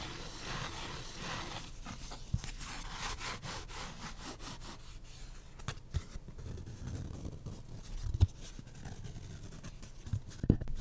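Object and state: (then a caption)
Cardboard beer coaster. A thin, flat, solid printed pulpboard Black Raven beer coaster is held in the hand while its edge and face are scratched with short nails. The result is quiet, irregular dry scratching and rubbing, mostly low in tone, with a few sharper clicks standing out along the way.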